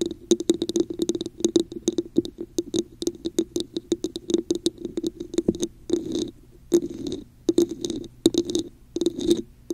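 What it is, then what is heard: Hollow textured plastic cup. Long nails rapidly tap and scratch the top of a hollow, red textured plastic cup placed over a microphone. The result is dense bursts of short, hollow, resonant clicks centered on a tone around 336 Hz with bright, crisp edges. Scratchy rustling stretches run between the tapping flurries.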